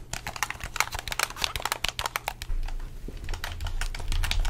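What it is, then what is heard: Plastic game controller buttons clicked. A hollow red plastic game controller is held close to the microphone while its buttons and triggers are clicked and tapped with the fingertips. A rapid, irregular stream of short, bright plastic clicks sits over a low rumbling bed that grows louder about halfway through.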